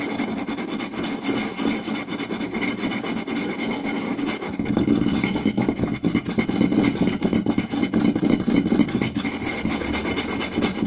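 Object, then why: Round wooden plate. Short nails and fingertips scratch and tap quickly across the surface of a round, solid wooden plate with a raised rim. The result is a dense, continuous run of dry raspy scratching and quick hollow wooden taps, with bright high hiss over a warm low-mid body. The sound grows louder and fuller about halfway through.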